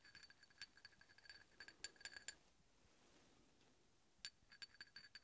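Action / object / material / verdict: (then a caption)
tap / steel hex bolt tapped with a steel drill bit / steel / none. A large solid steel hex bolt, held vertically, is tapped and scraped with the tip of a steel drill bit. It gives a quick series of bright, high metallic clinks with a faint ringing tone, then a quiet pause of about two seconds before another run of light taps. Each tap dies away almost at once over a soft hiss.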